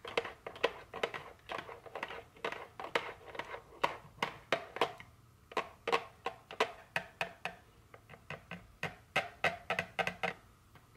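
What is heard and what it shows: A small printed cardboard chocolate candy box lying on a table is tapped with very long fingernails. About forty quick, dry, clicky taps come in uneven bursts, each with a hollow papery midrange tone, a bright edge and almost no ring. There are brief pauses between flurries.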